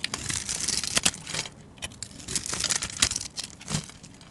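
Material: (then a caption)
Soap. A plain, solid, hand-sized white soap bar held in the hand is scored and then shaved with a metal utility-knife blade, peeling off thin soap curls. The result is a series of dry, bright, crinkly scraping strokes, mostly high in tone with little low end, separated by short quiet pauses.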